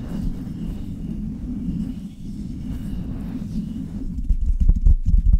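Long red nails and fingertips rub and scratch the metal mesh grille of a Blue Yeti metal USB condenser microphone up close. The result is a steady, muffled, low rumbling scratch, then the last second and a half turns louder, with sharper, choppier scrapes and taps.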